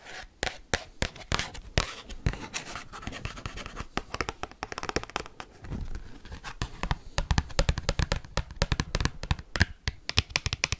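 An oversized cardboard Pokemon trading card is rapidly tapped and scratched with paperclips, flexing as it is handled. Quick, sharp clicks and dry scraping rasps come in dense bursts over a low, papery rumble, with each tap dying away almost instantly.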